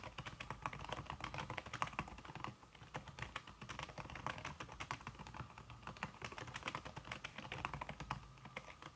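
Fast typing with fingertips and long red-painted nails on a slim backlit Apple-style aluminum keyboard whose plastic keys sit under a red silicone skin. A dense stream of short, muffled clicks and taps runs continuously, each dying away almost instantly, with a brief lull near the middle.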